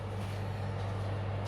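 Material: Nothing is struck.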